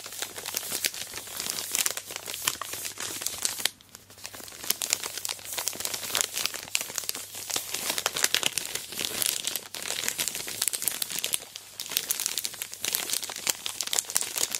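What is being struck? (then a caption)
Chocolate bar in plastic wrapper. A large, full, sealed Aero Mint chocolate bar in its plastic wrapper, lying on a fluffy surface, is squeezed and scraped with long black nails and fingers. Dense, bright plastic crinkling and scratchy rustling run almost continuously, with a brief quieter dip near the four-second mark.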